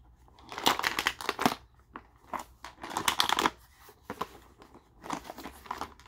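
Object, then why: Hard plastic tackle box with lures inside. A translucent hard plastic tackle box, about 20 cm across and holding fishing lures, is held in both hands and tilted and shaken. The lures rattle and clatter against the compartments in short, bright bursts that come in uneven clusters, with quiet gaps between them.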